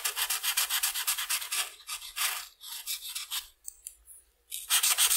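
A red felt-tip marker held in the hand is rubbed back and forth across a flat sheet of white paper printed with a butterfly outline, lying on a table, filling in the wing. Quick, bright scratchy strokes repeat steadily at first, then loosen into slower bursts. After a near-silent pause with a few faint ticks, a fresh run of strokes starts at the end.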